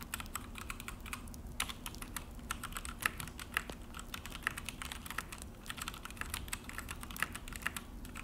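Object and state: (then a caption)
Plastic mechanical keyboard. Both hands type with their fingertips on a full-size Akko mechanical keyboard with an orange plastic case and black plastic HyperX keycaps, set on a desk. The key presses make a fast, continuous run of short, sharp clicks and clacks with bright attacks. A few louder strikes stand out over a steady low hum.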